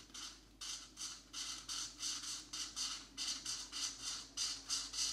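A marker tip is dragged in short scratching strokes across a thin paper coloring book page, coloring in blue areas. About 13 separate bright, hissy bursts come in a loose, uneven rhythm, each fading quickly between strokes.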